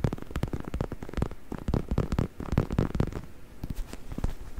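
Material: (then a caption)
Faux leather. Fingertips scratch and rub the surface of a black, soft, padded stuffed faux leather neck pillow held in front of the mic. The result is a steady run of quick, muffled scratching strokes and soft crackles, mostly low and dull with little brightness.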